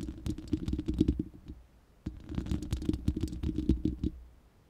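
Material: Steel mesh.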